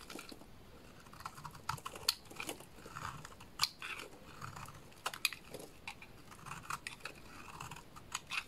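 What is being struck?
Bar of soap.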